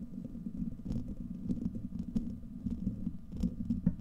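Fingertips and nails scratch a hollow, domed steel wire-mesh microphone grille and cup around it, making a dense low rumbling scrape with soft crackles. Sharp brighter ticks break through now and then over a steady, muffled low-pitched texture.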